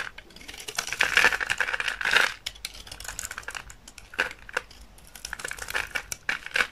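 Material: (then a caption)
Soap. A solid rectangular bar of dry olive-green soap, held in the hand, is shaved with a utility knife blade into thin curls. Dense, dry, crackly scraping with a bright edge swells into two louder bursts near the start. It then settles into quieter scraping punctuated by short, sharp ticks.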